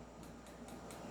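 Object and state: Nothing is struck.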